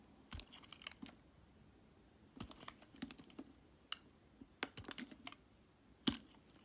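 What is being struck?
Glycerin soap bar cut with a metal blade.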